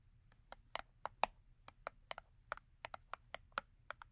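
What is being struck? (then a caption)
Small cardboard soap box. Long acrylic nails tap the top edge of a small Yardley cardboard soap box, full with a soap bar and resting on a fur mat. About 17 quick, dry, bright clicks come at an irregular pace, with no ring after each one, over quiet background hiss.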